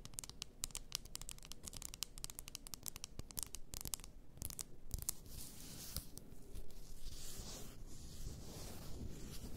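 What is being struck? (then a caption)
Glass bottle of bath salt. Long nails scratch the top of a large, apparently glass bottle full of pink bath salt, then tap its sides. For the first few seconds there is a dense run of sharp, bright clicks and scratches. These give way to a softer, steadier rustling scrape.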